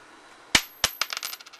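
A 1977 copper penny is dropped for a bounce test, landing with three distinct bright, high-pitched clinks followed by a quick rattle of smaller bounces. It has a nice little ring, which shows the coin is copper.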